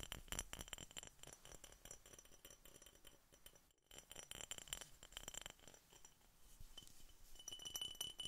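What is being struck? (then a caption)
Glass soda bottle. Continued tapping on a glass Coca-Cola soda bottle produces a dense, fast run of bright, clear glass clinks with a steady high ringing tone. The taps come irregularly, about four per second, with a brief pause just before the four-second mark before the clinking resumes.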